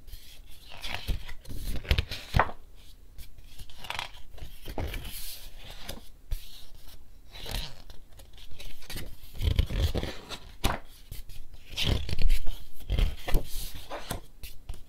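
Fingertips quickly flip the thin, glossy paper pages of a large picture book held in hand, so the pages bend and flap. The result is a rapid, irregular run of papery swishes, flaps and soft low thumps with bright rustling edges.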